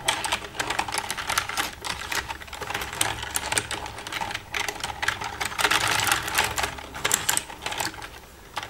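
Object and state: Plastic computer keyboard.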